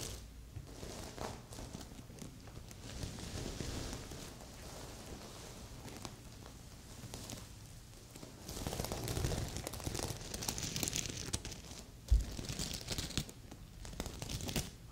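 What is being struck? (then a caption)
Sequin-covered fabric pillow. Long nails scratch and rub the sequins on a magenta sequin fabric heart pillow, making a continuous crinkly, rustling scrape with bright, hissy edges over a low rumble. The scratching grows louder and denser about halfway through, with a sharp tick near the end. A second pillow sits nearby, untouched.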